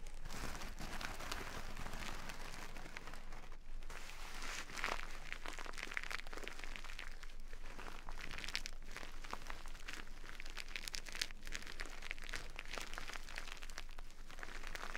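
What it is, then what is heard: Burlap sack full of rice, scratched. Fingertips and long nails scratch and press the rough fabric of a small, full burlap sack of brown basmati rice, making the rice crunch inside. The result is a steady, dense stream of dry scratching and gritty crunching with bright, crisp texture over a soft low rumble, holding a fairly even level throughout.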